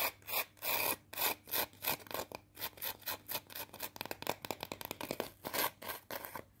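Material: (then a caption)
Potato. Long teal acrylic nails scratch and rub a single small, thin, curved fried potato chip (Pringles-style), solid and brittle, held in the fingers. The result is a series of bright, dry, rasping scratch bursts with almost no low end, spaced out at first and then coming faster and denser in quick, crackly strokes.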